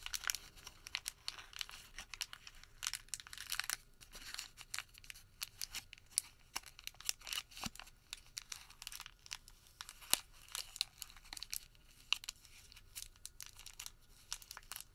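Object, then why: Thermal paper receipt. A white thermal paper receipt is crumpled and crinkled between the fingertips of both hands. The result is a steady stream of quiet, bright, dry crackles and sharp tearing-like snaps over the whole clip, with almost no low end.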